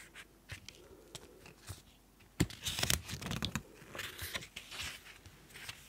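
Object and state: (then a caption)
Paper notebook pages being turned. Fingertips turn and flip the white paper pages of an open small pink notebook. Soft, crisp rustles and brief papery swishes come at an uneven pace, with a louder, denser burst of crinkly flipping in the middle. The sound is bright and papery, then settles back into quieter page turns.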